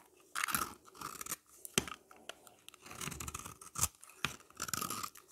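A utility knife blade scores and scrapes a solid, dry, oval yellow bar of soap held in the hand, shaving off flaky curls. Short, bright, crunchy scraping bursts come in an uneven series with brief gaps between them, and there is little low end.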